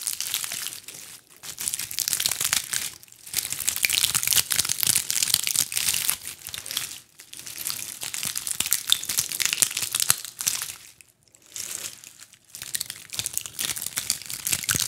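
A fist-sized ball of small dried pine cones is scratched and crunched with long acrylic nails close to the mics. The result is dense, bright crackling and crinkling in sustained bursts, separated by brief pauses. There is almost no low end.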